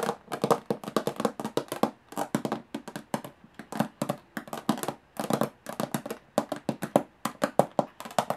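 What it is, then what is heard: Aluminum case, hollow. Long fingernails tap fast on the textured metal lid of a small, hollow aluminum briefcase. The result is rapid bursts of dry, bright clicks with almost no ring, grouped in uneven clusters with brief pauses between them.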